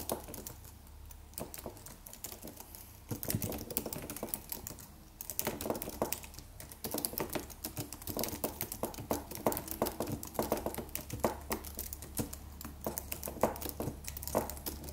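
A slim, silver aluminum computer keyboard with white plastic keys and a solid low-profile body is typed on with the fingertips of both hands. Steady runs of quick, short clicky taps are heard, with brief pauses between bursts, over a faint low hum.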